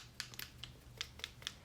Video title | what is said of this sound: Need Help Picking a Face Sunscreen? These Are Mineral SPFs That Wear Great Under Foundation! | you do need to shake it and you can hear the ball